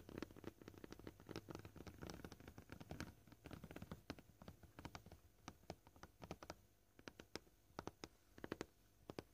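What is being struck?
Plastic cutting board.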